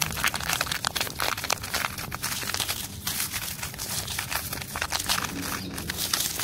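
Fingertips and nails scratch and pick at flaky, peeling red-orange bark on a solid tree trunk, close up. The result is a dense run of bright, dry crinkling and crackling scrapes with quick snaps that fade almost at once.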